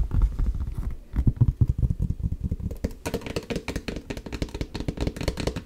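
Long nails rapidly tap and knock on the leather upper and heel of a hollow, empty black leather ankle boot held sideways close to the mic. The taps come quick and uneven as short, dull, low thuds with almost no ring. Partway through they turn lighter and slightly brighter.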